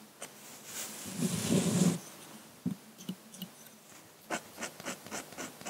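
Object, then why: Metal dip-pen nib on paper sheet. A metal dip-pen nib in a wooden holder scratches continuous hatching strokes across a large flat sheet of drawing paper on a table. A longer, louder scratchy stroke with a low rough rasp comes early, followed by a series of short, separate, dry scratches with bright edges.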